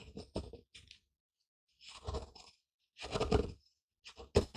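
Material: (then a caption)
Wood. A wooden pestle, held in a fist, grinds and pounds pale ground seeds or grain inside a small, light, hollow wooden mortar bowl held steady with the other hand. Short bursts of gritty, dry crunching and scraping come in uneven rounds separated by silent pauses, with a low woody thud under the crushing and no ring after each stroke.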